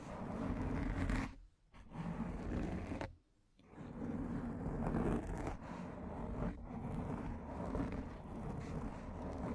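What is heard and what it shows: Long painted nails, from one or both hands, scratch the surface of a large, rounded, soft and porous black foam windscreen on a microphone. The result is a steady, muffled, low-heavy rustling scrape that stops briefly twice near the start before running on continuously.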